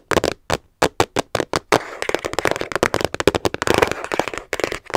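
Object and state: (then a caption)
Hard plastic storage case tapped with nails. A small, hollow, hard plastic storage case, teal with a translucent top, is held in both hands while long nails tap its sides quickly. Sharp, dry clicks with a hollow midrange tone and almost no ring come first as separate taps. After about two seconds, a steady scratchy rustle runs beneath a denser flurry of taps.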